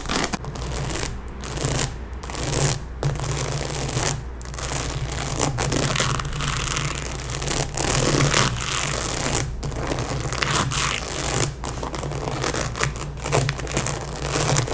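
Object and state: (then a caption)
Rhinestone-covered cap. A pink baseball cap covered in small plastic rhinestones, resting on a table, is scratched and rubbed with long nails and fingertips. The result is a steady, dense crackling scrape with bright clicky texture and brief pauses, over a constant low hum.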